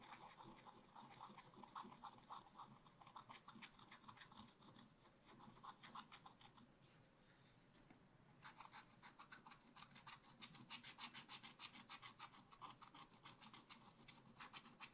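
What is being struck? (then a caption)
Black-coated scratch art paper scraped with a wooden stylus. A wooden stylus scratches areas of the picture on a black-coated scratch art card in a spiral pad, making rapid, fairly quiet, dry scraping strokes with a bright, papery edge. The strokes soften and thin out around seven to eight seconds, then resume as a steady run of quick scratches to the end.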